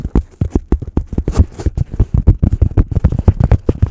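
Fingertips tap and scratch the surface of a solid, hand-sized white polystyrene foam block close to the microphone. A rapid, uneven run of short, dull, low thumps dies away almost instantly, with occasional brighter scratchy hiss between the taps.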